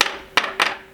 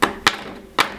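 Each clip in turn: First: PLA plastic 3D print, hollow sound. Second: bronze-filled PLA print with a metallic sound.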